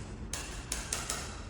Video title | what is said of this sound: Vistoria de recebimento de imóvel novo na prática! | a gente vem batendo nas quinas dela, aí que o som tá bem conciso